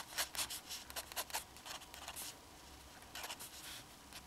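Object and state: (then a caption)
Fountain pen nib scratching on paper. A black fountain pen held in the fingers draws hatching strokes onto the central figure on a sheet of flat drawing paper, its metal nib staying on the paper throughout. Quiet, bright scratching comes in a series of short, uneven bursts, busier at the start and again near the end, with a faint steady hiss between strokes.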